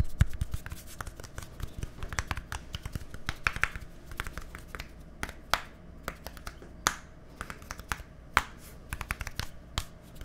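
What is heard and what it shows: A small, hollow, white plastic deodorant stick with a green cap is held near a microphone and tapped with fingertips and nails. Rapid, dense clicking and tapping are heard, with a few sharper, brighter nail taps standing out over a steady low rumble. Each tap is dry and dies away almost instantly.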